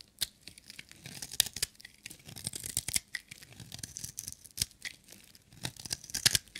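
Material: Soap.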